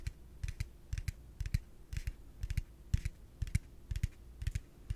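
A yellow hollow plastic pig piggy bank is held in one hand and rapidly tapped on its body with the fingertips and nails. It makes quick, dry, hollow taps in irregular clusters, each with a low thump and a bright click that dies away almost instantly.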